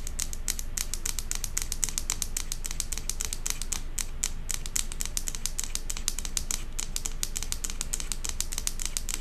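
Long acrylic nails rapidly tap and scratch the side and bottom of a tilted large glass jar candle filled with solid wax, with a metal lid. The result is a fast, unbroken run of sharp, bright clicks over a steady low rumble.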